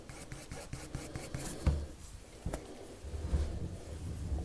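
A wood-cased colored pencil, held in the fingers, rubs its tip across a thin white sheet of paper lying flat on a table in continuous drawing strokes. The result is a soft, scratchy rasping that rises and falls with each stroke, carried mostly by a low, dull body with a few brief brighter ticks.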